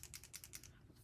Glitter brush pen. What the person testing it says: now you can hear something